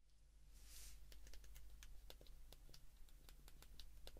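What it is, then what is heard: Plastic phone keypad clicks. Thumbs repeatedly press the rubber and plastic number keys of a white plastic flip mobile phone held open in both hands. The result is a quick series of small, crisp clicks over a low, steady hum.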